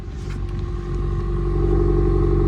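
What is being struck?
Nothing is struck.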